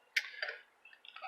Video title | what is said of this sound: Master Series Stanley vs. Classic Stanley Thermoses Ultimate Endurance Test | You shake it, you hear something in it